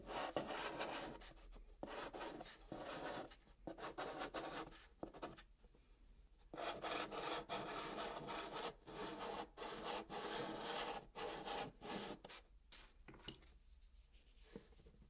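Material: Cardboard.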